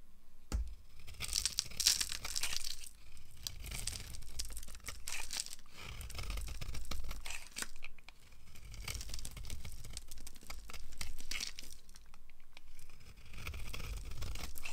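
A hand-sized, solid yellow oval bar of dry soap with an embossed logo is held in the palm and carved with a red-handled knife that cuts crumbly curls. Steady, dry scraping and crackling crunches run throughout, with bright, tearing crinkles over a low, soft rumble. The sound swells and dips with each stroke but never stops.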